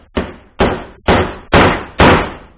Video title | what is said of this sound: Wheel Bearings | you'll hear that solid sound when it's reached its bottom in point